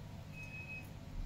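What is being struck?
Nothing is struck.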